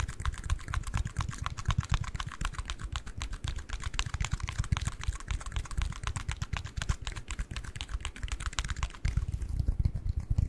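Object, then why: Small cardboard ring box. Fingertips and nails tap and scratch a small, closed, hollow white cardboard ring box held in both hands close to the microphone. Dense, rapid clicks and scratches run continuously with a deep, hollow thump underneath and a bright, crisp edge on top. Near the end the bright scratching drops away and only the low, hollow tapping remains.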